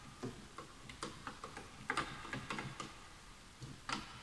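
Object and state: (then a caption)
Bamboo wooden keyboard. Both hands type with their fingertips on a full-size bamboo wood computer keyboard with wooden keys, while the mouse sits untouched. About ten short, dry, hollow-sounding clicks land at an irregular pace, each dying away almost at once with a bright, woody tick.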